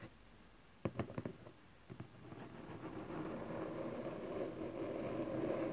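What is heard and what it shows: A small cardboard camcorder box resting on satin fabric is held and tapped on its edges by hands, then tapped on its top face with fingertips and nails. About five short, dull, quickly damped taps come in two clusters, followed by a steady rising low-to-mid rustling noise that continues to the end.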